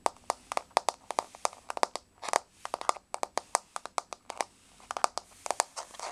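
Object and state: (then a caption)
Laminate floor tapped with fingernails. Long polished nails tap a solid, flat wood-grain laminate floor close up, making 33 sharp, dry clicks in an uneven rhythm. Each tap is a crisp mid-pitched tick with a bright edge and no low end, and it stops almost instantly against a quiet background.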